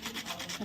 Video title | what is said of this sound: एक वाटी रवा आणि बटाट्याचा कुरकुरीत नाष्टा लग्ना साठी केलेली ज्वेलरी शॉपिंग 🛍️🛍️ | आवाज येतो आणि कुरकुरीत एकदम